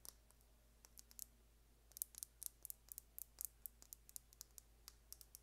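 Long painted nails tap and scratch a small, slim, hollow plastic lip gloss tube with a gold and blue cap as it is held up. About two dozen quick, sharp clicks with very short decay come in an irregular run, bright and crisp. A faint steady low hum sits underneath.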